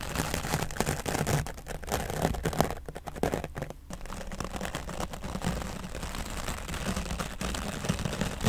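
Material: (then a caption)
Foam. A grey foam microphone windscreen is brushed from the left side with an oval dry brush whose bristles drag across the foam. The result is a steady, dense scratchy rustle with many quick strokes. Most of its weight sits low, with only a faint bright edge, and it briefly thins out around the middle.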